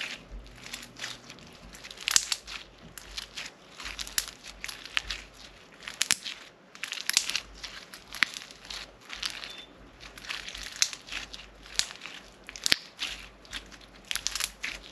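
A solid blue-purple floam slime lump with pink and blue foam beads is squeezed and pressed by the fingertips and palms of both hands with long nails. It gives steady bursts of crunchy, crackling pops, bright and high with almost no low end, repeating through the clip with brief quieter gaps.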